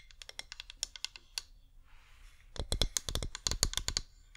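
A flameless cream wax pillar candle with a scalloped rim, held in both hands, is tapped with long painted nails, giving about two dozen quick, bright clicking taps with a dull low thump beneath them. A lighter run of taps gives way to a brief soft rustling pause, then a louder, denser burst of tapping that ends abruptly.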